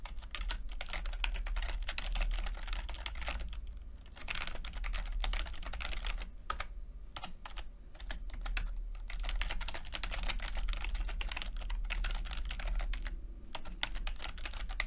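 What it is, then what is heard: Plastic computer keyboard being typed on. Fingertips type on a backlit chiclet computer keyboard with plastic keycaps, making fast, dense, bright plastic clicks with brief pauses near 4, 7 to 8, and 13.5 seconds. A steady low hum runs beneath the tapping throughout.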